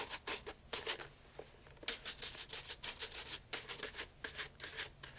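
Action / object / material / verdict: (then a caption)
scrape / leather loafer / leather / none. A brown leather loafer with a shoe tree is held in hand and brushed rapidly with a wooden-backed bristle shoe brush. Quick, bright, airy swishing strokes come in fast bursts with short pauses, each stroke a dry rub with a faint hollow tone underneath.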